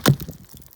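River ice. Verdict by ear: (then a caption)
Hollow. A skate strikes a patch of hollow-sounding ice about three inches thick on the Raquette River, giving one sharp, low, hollow thunk followed by a few fainter knocks. The hollowness is likely because the river's water level has dropped beneath the ice, and the spot is judged not safe to skate alone.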